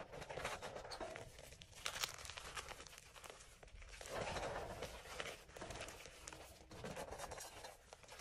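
Hands scoop and crush soft, pale green dyed gym chalk cubes and powder in an enamel bowl. Dense, bright crunching and crumbling crackle runs throughout in uneven bursts, with short, dry sounds that stop quickly.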